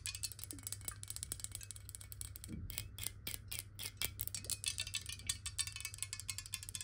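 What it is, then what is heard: Glass water bottle tapped with nails. Long nails rapidly tap a clear, hollow, square glass water bottle held in the hands and partly filled with water. The result is a dense stream of quick, bright, clicky taps with almost no ring after each one, over a steady low hum.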